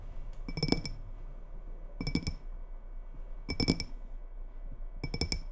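Long red nails tap quickly on the sides of a small faceted glass tumbler partly filled with water, held in both hands. The taps come in four short bursts of bright, glassy clinks with high ringing tones, separated by pauses of soft background hiss.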